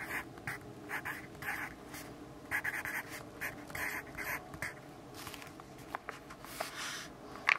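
A yellow graphite pencil writes words on an open grid-paper notebook resting on a wooden desk while the other hand flattens the page. Quiet, bright scratching strokes come in short bursts with brief pauses, centered around 2.3 kHz. A faint steady hum sits underneath.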